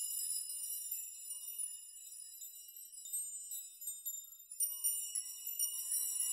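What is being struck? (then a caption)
Suspended metal nail chime. A metal nail chime, rows of suspended metal nails, is pushed through and swayed by both open hands so the nails knock together and shake. A quiet, continuous bright jingling and tinkling rings out, with no low end and a faint tone near 1 kHz. Sharper clusters of clinks stand out toward the end.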